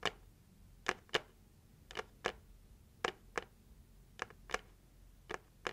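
Long nails gently tap the lid of a closed, hollow, red printed heart-shaped cardboard gift box. Eleven light, dry ticks come at an uneven pace, some in quick pairs, each bright and crisp with almost no ring, over a quiet background.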